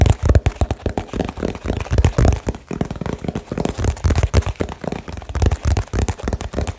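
Fingertips tap a small hollow cardboard box wrapped with blue tape, extremely fast and aggressively. The result is a rapid, uneven stream of short, dull, low thumps with almost no ring and very little high-end content.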